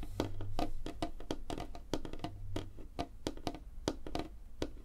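Long fingernails on both hands tap rapidly across a large, flat, solid light-wood tabletop. The result is a quick, uneven patter of short, dry clicks with a woody knock around 300 Hz that dies away almost instantly, over a low, dull body.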